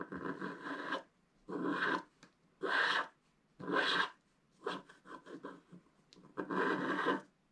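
A wooden stick scratches along the top edge of a flat black wax-coated scratch art paper card. Dry, raspy scraping strokes come in bursts separated by short silences, with a run of quicker, shorter scratches near the middle.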